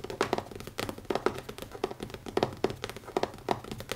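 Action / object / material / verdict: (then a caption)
tap / leather-covered hardcover notebook / leather / none. Fingertips tap rapidly on the cover of a closed black leather-covered hardcover notebook with an elastic band, resting on a wooden table. The quick, irregular taps are short and dull, with a soft mid-pitched knock and faint bright clicks, dying away almost instantly.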